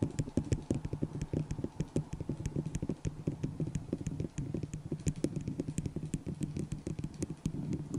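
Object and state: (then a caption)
Plastic cup tapped with nails. Long acrylic nails tap fast on a small, hollow, empty white disposable plastic cup held over the microphone. The result is a rapid, steady stream of short, hollow knocks with a low, boomy body and faint bright clicking at the edges, each tap dying away almost instantly.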